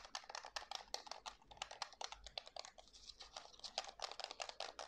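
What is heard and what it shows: Fingertips click and tap the buttons and hollow plastic body of a white plastic PS5 DualSense game controller while turning it in the hands. The result is a quick, uneven run of short, dry, bright clicks and taps with almost no low end, each dying away at once.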